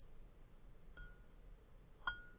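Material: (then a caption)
Glass. A drinking glass is tapped twice to keep a beat, giving two bright, chime-like clinks. The second tap is louder, and each leaves a short ringing tone that fades quickly over a quiet, low background rumble.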